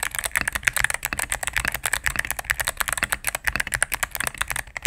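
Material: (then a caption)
Plastic. A cream full-size mechanical keyboard with plastic keycaps on a solid plastic case is typed on with fingertips and medium nails in rapid key presses. Dense, crisp clicky clacks arrive in quick succession with a bright upper edge and almost no low end, each press stopping short with no ring.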